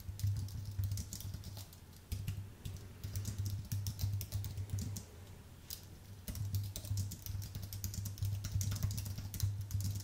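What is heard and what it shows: Fingertips of both hands type on a white Apple full-size keyboard with an aluminium base and plastic keys. Quick, crisp key clicks come in bursts, with quieter pauses around 2 seconds and between 5 and 6 seconds. A steady low hum sits underneath throughout.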